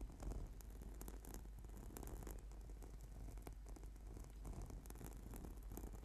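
Fingertips and short nails tap and scratch the surface of a flat purple sticky PVC/foam yoga mat lying on a table. The sound is a quiet, steady stream of soft, dull taps and brief scratchy rasps over a low rumble, each contact dying away almost at once.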